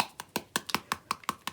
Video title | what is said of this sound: Mixed Media Journal Cover | now I hear it sloshing around